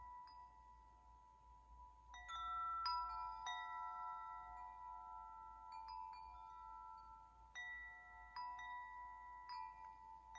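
A metal tube wind chime with long hollow metal tubes is held by its top string and swayed by hand, while fingers nudge the tubes so the striker hits them. Clear metallic tones ring out around 1 kHz with bright overtones, arriving in irregular clusters. Each strike sustains for nearly two seconds, so the notes overlap into a shimmering wash over a faint low hum.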